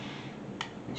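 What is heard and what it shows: A freshly demolded plaster rock casting for a model railroad is tapped once, giving a short, bright, glassy click with a brief ring around 900 Hz over a low background hiss. The glass-like tone suggests the casting is hard and fully set.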